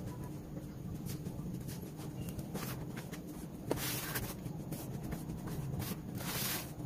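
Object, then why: Loose red dirt in a plastic basin. Bare hands scratch, rub and press through dry, crumbly red dirt powder filling a teal plastic basin set inside a blue tub. A steady, low, gritty rustle runs throughout, broken by brief bright scratchy bursts and a sharp crackle partway through, and it grows slightly louder in the second half.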